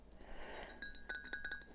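Teacups are clinked and tapped together, producing seven bright, ringing glassy chinks with a clear tone near 1.6 kHz after a brief soft rustle. Each clink decays quickly, ringing for about a third of a second.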